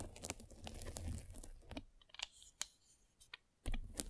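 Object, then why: White polyethylene foam mesh net over a microphone, rolled with a spiked roller. A metal-spiked derma roller rolls over a white polyethylene foam mesh net wrapped around a microphone. The result is close, crackly scratching and crinkling, with a dense low rumble early on, then sparse sharp clicks and a final swell of rough rolling.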